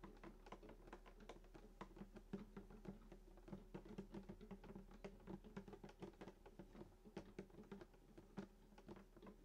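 Fingertips tap and drum on the wooden top of a hollow sunburst acoustic guitar lying flat, first near the bridge and then on the upper body. A quick, uneven patter of soft, hollow knocks resonates around 195 Hz, each dying away almost at once over a faint, steady low hum.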